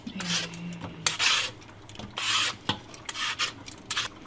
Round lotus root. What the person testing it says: Female lotus root has a different sound It has a chunky feel to it